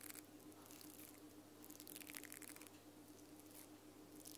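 Long nails scratch and strum the pink nylon bristles of a small plastic mascara spoolie brush on a black plastic wand. The result is quiet, dense, bright crackling with bursts of crisp bristle flicks over a steady low hum.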